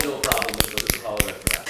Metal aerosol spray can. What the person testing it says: you gotta shake it until you can hear it